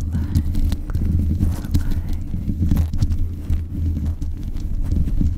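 Long nails scratch and tap the hollow mesh grille of a black metal desk microphone. The result is a steady stream of dull, boomy taps and rubbing scrapes, heavy in low thuds with a deep hum near 74 Hz and faint brighter ticks on top.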